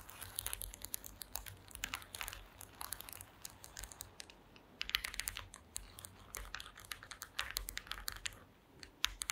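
Long green acrylic nails tap rapidly on a woven wooden slat mat, producing a dense run of sharp, dry, bright clicks with almost no ring. The taps come in quick flurries over a faint low hum, loud enough to be picked out one by one but too fast and overlapping to count cleanly.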